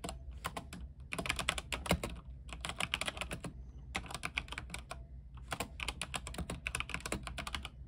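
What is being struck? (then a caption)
Mechanical keyboard with plastic keycaps. A compact mechanical keyboard with white plastic keycaps, a silver RGB-lit case, is typed on with the fingertips of both hands. Bursts of rapid, bright, crisp clacks come in runs separated by short pauses, over a faint, steady low hum.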